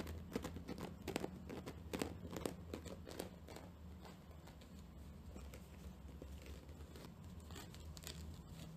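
Long painted nails scratch a round, flat, dry natural loofah pad with a loop, its fibrous, porous surface held up close. Quick, irregular dry scratching and crackling bursts come fastest and loudest in the first half, then settle into a softer, steadier rasp over a low hum.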